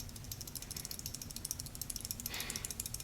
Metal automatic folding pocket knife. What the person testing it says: it depends on your taste it's a little bit of rattly